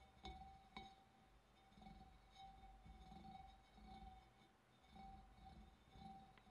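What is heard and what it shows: Fingernails tap on a glass fish bowl, giving light clinks with a steady ringing tone near 780 Hz and faint bright overtones. Each ring fades quickly over a soft, low background rumble.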